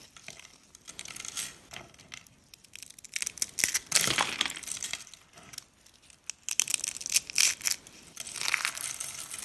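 Fingers and a palm squeeze and crush pink dry soap, shaved into thin rolled rose-shaped curls with solid brittle layers, into flakes over a speckled countertop. Bursts of dry, bright crunching and crackling come in irregular waves, with very little low end. The curls break apart into flakes.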